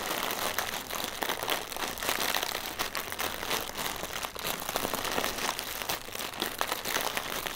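A single small, inflated, clear plastic air cushion, a hollow air-filled packaging filler, is held in both hands and tapped and scratched with short fingernails and fingertips. The result is a steady, dense stream of bright, crinkly scratching and quick tapping with almost no low end. Each tap is short and dry, with no ringing.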